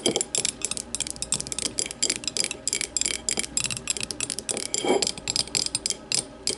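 An empty clear glass tumbler sits upside down on a table and is tapped rapidly with the long matte nails of both hands. About thirty quick, bright clicks follow one another in uneven bursts, each with a short glassy ring over a faint low hum.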